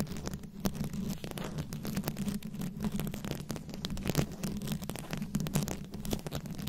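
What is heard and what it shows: Long nails scratch and tap the rhinestone beads covering a round microphone head, producing dense, close-up crackling scratches and quick clicks over a steady low hum. The textured rustle continues without pause for the whole clip.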